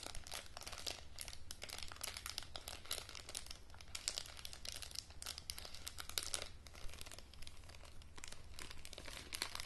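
Long nails crinkle a thin printed plastic face mask sachet and scratch along its folded edge. The result is a continuous stream of bright, crackling crinkles over a steady low hum.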